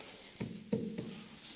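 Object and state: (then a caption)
Hollow-sounding staircase. Knocks on an old staircase give dull, muffled thuds with a low, hollow resonance around 220 Hz that dies away quickly. The stairs act like a big resonance box, a likely noise problem for the neighbours, so acoustic wadding was added behind a frame along with carpet tiles.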